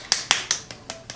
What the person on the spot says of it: I'm gonna shake it up. Ooh, it sounds very liquidy.